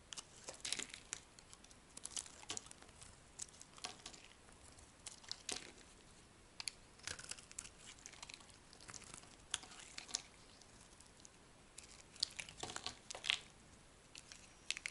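A solid orange bar of soap held in the hand is shaved with a metal blade, and dry slices break off with crisp, crackling scrapes. The sound is quiet, bright and crinkly, with short, dry bursts that die away instantly and sparse soft gaps between strokes.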